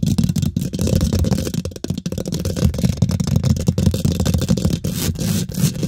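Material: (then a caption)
Steel mesh. Fingernails quickly scratch and tap the hollow steel mesh grille of a microphone head. The result is a dense, boomy stream of low rumbling scrapes and rapid dull taps, with only faint bright hiss above.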